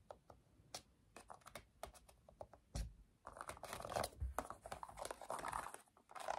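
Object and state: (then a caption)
Plastic TV remote control. A black plastic TV remote with rubber buttons is held above a table while its buttons are pressed and clicked rapidly with the fingertips. Soft, short clicks tap out sparsely at first, then thicken into a denser, crinkly run of quick presses. The sound stays quiet and close throughout.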